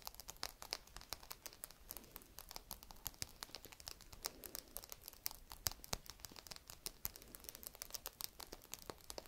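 A single small whole walnut in its hard woody shell is held in both hands and scratched with long red nails. A quiet, rapid stream of crisp, bright scratching clicks and crinkly ticks runs throughout, each short and dry with almost no ring.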